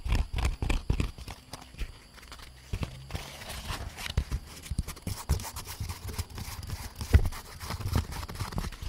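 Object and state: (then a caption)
Molded paper pulp egg carton. An empty grey-beige molded paper pulp egg tray, hollow and lightweight, is held up in both hands close to the mic and tapped and scratched with long painted nails across its cup bumps. Quick dull, low taps come in rapid uneven bursts, mixed with a soft papery scratching rustle. Each tap dies away almost instantly.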